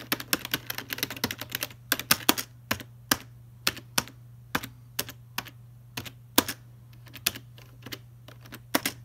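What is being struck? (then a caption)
Plastic computer keyboard. Several fingertips type and tap rapidly on the keys of a full-size black plastic Logitech keyboard resting in its box. A dense run of crisp, bright clicks gives way to sparser, separate taps over a steady low hum. Each click is short and dry, with almost no ring.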